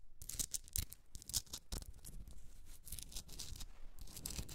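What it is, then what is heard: Himalayan salt rock candle holder. Long red nails scratch the rough surface of a hand-sized solid pink Himalayan rock salt block used as a candle holder. The result is a dry, gritty rasping in quick, uneven bursts, bright and hissy on top with a soft low rumble underneath. Each stroke stops dead with no ring.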